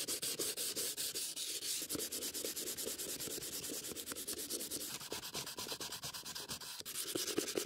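A gloved hand sands the lid of a closed, hollow antique wooden stamp box with sandpaper, then tilts the box up and keeps rubbing its surface. Rapid, repeated bright scratchy strokes run steadily throughout, with a hollow midrange body under them.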